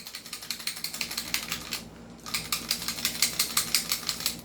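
A non-upgraded WE Glock 17 Gen 5 airsoft pistol is shaken, and its loose metal outer barrel rattles in a fast series of bright, sharp clicks with a brief pause midway. The rattle shows the barrel is loose, unlike on the upgraded pistol.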